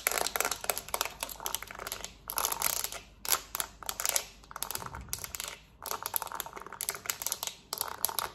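Long nails tap and scratch the smooth plastic back of a small, hollow black plastic TV remote, then its button side. Fast, dense bursts of bright, dry clicking and scratching come in quick clusters with brief pauses, and each tap stops dead with no ring.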